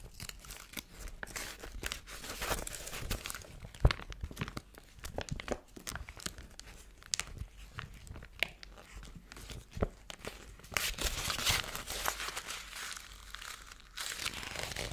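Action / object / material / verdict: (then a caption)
scrape / thin foil paper sheet / foil paper / none. A thin gold foil paper sheet, held in both hands, is crinkled and then squeezed into a wad with the fingers. Dense, bright crackling and sharp crinkly ticks run throughout, with one louder snap early on and a busier, brighter crunching burst later. The sound stays close and dry, with almost no ring after each crackle.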